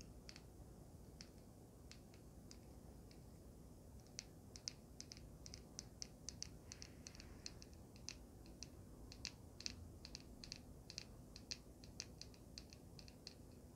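Long painted nails tap a small, solid handheld vape mod with a swirled resin body and metal frame, held close to the camera. Short, bright clicks come sparsely at first, then in a dense, irregular run from about four seconds on. Each click is dry with no ring, over a quiet, steady low background noise.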